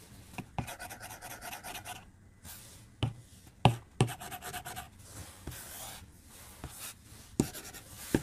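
A white plastic stylus tip draws long strokes across the glass screen of a tablet lying flat on a desk. Bursts of bright, scratchy rasping alternate with quiet gaps, and short taps mark where the tip touches down and lifts.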